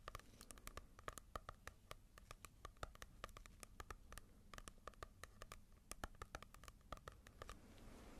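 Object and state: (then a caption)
Paperback book with glossy cover. Long nails tap and scratch a small, solid paperback manga volume with a glossy cover, making quick, crisp clicks that ring bright and die away at once. The taps come in an uneven, rapid patter over a soft, low rumbling background. Near the end the tapping stops and gives way to a quieter scratching texture.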